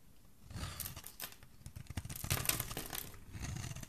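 A solid, rectangular embossed pink soap bar held in the hand is scraped and shaved with a metal utility blade, curling shavings off its surface. Dry, crinkly scraping strokes come in uneven bursts, with a bright, hissy edge over a soft low rasp, and they grow louder in the middle before easing slightly at the end.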